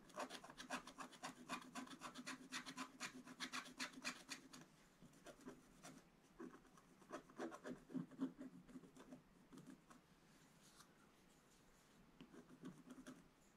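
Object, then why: Scratch-art paper page scraped with a wooden stylus. A wooden stylus scratches stripes into the black coating of a scratch-art paper page, making quick, dry rasping strokes at about four per second. The scratching comes in bursts separated by quieter pauses, each stroke short with a bright, papery scrape and almost no ring.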